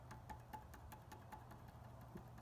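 A metal Springfield tank script emblem on the fuel tank of a 2017 Roadmaster is tapped eight times, each tap giving a light rattling click with a faint ring near 860 Hz over a low steady hum. The emblem is placed too far in one direction, so its curve no longer matches the tank and it moves and makes noise when tapped instead of sitting solid.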